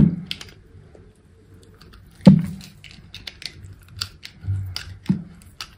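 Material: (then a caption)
Soap. Thin slices are shaved off a small solid pink soap piece with a utility knife blade, the soap held in fingers with long pink nails. Soft, crisp scraping cuts and light clicks come at an uneven pace, with a few sharper, louder strokes standing out over a low, muted body.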